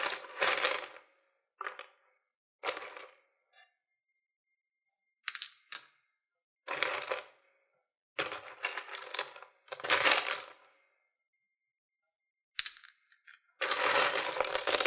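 Fingertips rummage and stir through a small open wooden box, painted purple outside and about half full of loose, mostly plastic sewing buttons with some metal ones. Bright, dry clicking and rattling comes in short irregular bursts separated by silences, with a longer continuous stir at the end.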